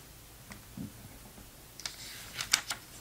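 Fingertips turn the pages of an open, glossy paper Sports Illustrated magazine from November 2002 and brush across the paper. Faint soft brushing gives way to a brighter, crisp rustle that ends in three sharp, quick paper snaps.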